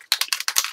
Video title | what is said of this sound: Beginner Mixed Media Background | you can hear there's a thing in there